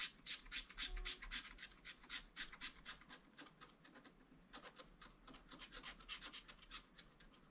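A wooden stylus rubs and scratches over a pufferfish on the same page of wax-coated scratch art paper, filling it in with dense strokes. Rapid, fairly regular back-and-forth strokes give a quiet, bright, raspy scratching with a brief lull around the middle before the strokes pick up again.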